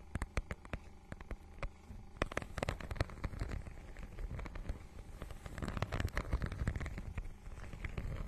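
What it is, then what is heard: Textured plastic book cover scratched with nails. Long nails scratch across the holographic, scale-textured plastic cover of a notebook-sized book. The result is a dense run of quick, dry crackling ticks and scrapes that die away almost instantly. The sound sits mostly low, with only faint brightness on top.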